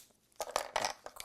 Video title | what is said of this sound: Simple Stuffed Dough Recipes - Ciao Italia | You'll know it's good chocolate when you hear that crackle. See how crispy that breaks?